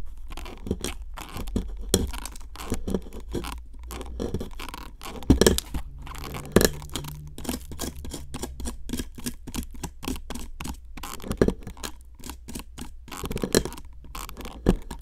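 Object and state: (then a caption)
Plaster block scraped with a metal pick. A metal pick, held by a hand with long nails, scratches and scrapes the surface of a solid pink plaster excavation block in a plastic tray near exposed fossil pieces. The result is a dense run of short, dry scratching strokes with a low rumble underneath and occasional louder scrapes.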